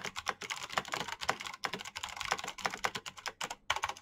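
Both hands type very fast with their fingertips on a black plastic backlit mechanical keyboard with clicky switches. About two dozen sharp, bright clicks come in a dense stream, each dying away almost instantly with almost no low end. There are brief gaps near the middle and just before the end.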